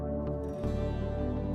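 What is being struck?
Nothing is struck.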